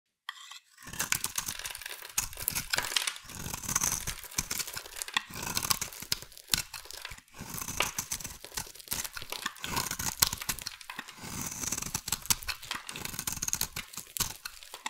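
A hand-sized solid pink bar of soap is held in one hand and carved and scraped with a metal utility blade, curling shavings off. The result is a steady run of bright, crisp scraping and crunching strokes with brief pauses between passes.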